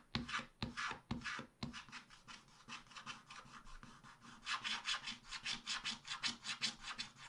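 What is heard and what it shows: A wooden stylus scratches small black areas near the bottom of a wax-coated scratch-art paper page. It makes a quick, somewhat uneven series of dry, raspy scratching strokes, about two or three per second and mostly bright and high. A few louder strokes come at the start, followed by a softer stretch and then a steadier run of brisk scratches.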